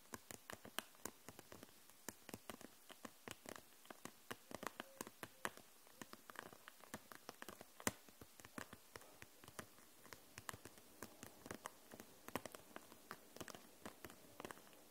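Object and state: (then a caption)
Plastic marker case tapped. Long nails tap the caps of dual-tip markers and the sides of an upright clear plastic case packed with them. The result is a quiet, steady stream of short, crisp plastic clicks with a bright top and little low end, each dying away almost instantly.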